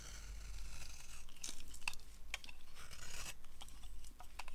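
A hand-held, solid peach-coloured oval bar of dry soap is carved with a yellow utility-knife blade, shaving off ridged curls. The clip is a run of dry, crisp scraping and crunching cuts with bright transient clicks over a low steady rumble.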